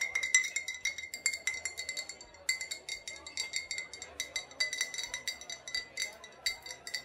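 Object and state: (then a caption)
Glass bottle. A second, old glass bottle with a faded sticker, holding either vodka or rubbing alcohol, is tapped and clinked in a long run of quick, bright taps. Each tap rings briefly with a clear, high glassy tone near 2 kHz and fades fast, and the taps vary in strength and overlap too closely to count.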